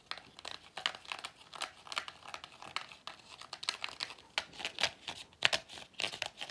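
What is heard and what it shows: Fingertips rub and squeeze the pleats of a hollow, cone-shaped pleated paper vacuum cleaner filter with a black rubber base. The result is a quick, uneven run of dry, crinkly crackles and papery scratches, bright and thin with almost no low end. Each crackle stops almost instantly.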